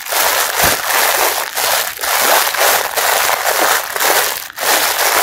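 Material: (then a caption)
Plastic. Fingers squeeze and crumple the clear printed plastic wrapper around a pink mesh bath sponge, producing dense crinkling and crushing crackle in repeated waves with brief lulls. The sound is bright and broadband, concentrated from the mid range upward, with almost no low end.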